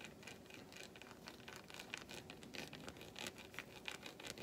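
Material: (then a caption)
Chocolate. A long fingernail scratches along the grooves of an unwrapped solid milk chocolate bar resting on a palm. The result is quiet, quick, irregular scraping strokes with a bright, dry texture and almost no ring.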